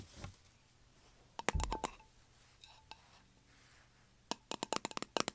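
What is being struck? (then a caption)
Small lidded metal candle tin. Fingernails tap and scratch the lid of a small round lidded metal candle tin resting on carpet. Soft scratchy rasps and a few quick, sharp clicks with a faint metallic ping come first, followed by a rapid run of bright, dry taps that stop almost instantly.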